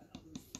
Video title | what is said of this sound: Sculpting stilletto | tap your extension and it's tapping if it's thudding it's not finished it's not ready